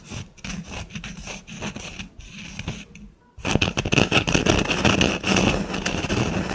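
Long nails scratch and trace the surface of a small, flat, solid wood slice coaster with a bark edge and a burned snowflake design. Soft, dry scraping strokes come in a loose rhythm of about two per second, pause briefly near the middle, then return louder and denser with bright, rough texture.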